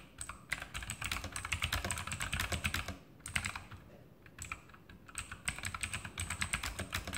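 Fingertips of both hands type on the plastic keycaps of a backlit E-Element Sharpshooter X2000 mechanical keyboard with Outemu blue clicky switches. Rapid, sharp clicks with bright, high ticks come in bursts, broken by two short pauses near the middle before the typing picks up again.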